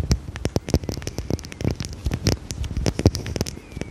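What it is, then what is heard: Glass perfume bottle. Long red nails tap rapidly on a small dark square glass perfume bottle with a cap, held in the hand. The result is a quick, uneven stream of short, crisp clicks, each with a bright edge over a soft low knock, and every tap dies away almost at once.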